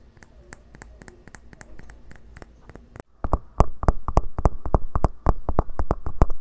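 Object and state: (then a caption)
Bamboo cup tapped. A small, hollow, cylindrical bamboo cup is handled and turned, making soft, quiet clicks and rustling. It is then set upright over the microphone and tapped and scratched with the fingertips, giving louder, rapid, uneven hollow taps. Each tap has a deep low thump, a bright click on top and almost no ring.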